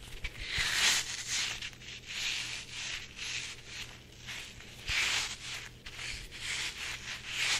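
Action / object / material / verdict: scrape / soft rubber chili pepper squishy toy / soft rubber / none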